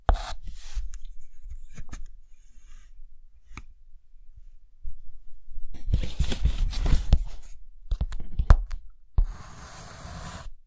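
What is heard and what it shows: A thick white chalk stick scratches lines on a dark green chalkboard, leaving visible chalk dust. Short scratchy strokes and taps come in irregular bursts, denser and louder in the second half, with a bright hissing scrape near the end.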